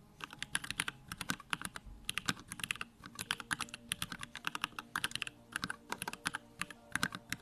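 Fingertips type rapidly on a small 65% Bakeneko65 mechanical keyboard with Durock lavender switches, a plastic case, white plastic keycaps and the backlight on. About fifty short, dry, bright clacks with a low thock beneath them come in quick irregular bursts. Each keystroke dies away almost instantly with no ring.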